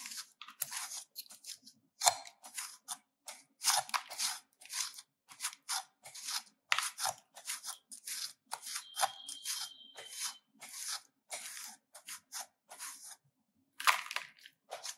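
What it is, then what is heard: Bar of soap grated with a metal grater. A handheld stainless-steel grater is scraped repeatedly across the face of a solid oval pink soap bar held in one hand, and soap shavings pile up in the grater. A quick run of separate, bright, dry rasping strokes is heard, each with a crisp, crunchy high hiss and almost no low end, divided by short silences.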